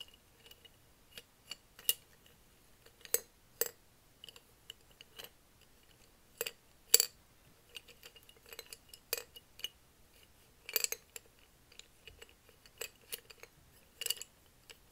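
A medium, hollow clear glass mason jar filled with colored felt-tip markers is held in both hands with the fingertips and tilted and shaken over a notebook. The markers rattle against the glass in a quiet, irregular series of short, bright clinks and ticks that die away almost instantly, with a few louder knocks spread across the clip.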